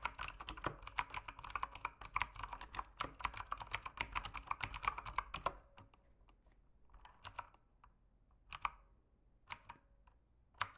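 Fingertips type on a backlit mechanical keyboard with plastic keycaps, producing a fast, dense run of short, bright clacks for about five and a half seconds. The typing then thins to a few scattered, isolated key clicks with quiet gaps between them.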